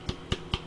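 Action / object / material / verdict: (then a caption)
tap / smartphone plastic back cover / plastic / hollow. Three taps on the back cover of a Blackview R7 smartphone give short, hollow-sounding knocks with a deep thud and a brief bright click on top, each dying away almost at once. The hollow sound is judged a negative point of the phone.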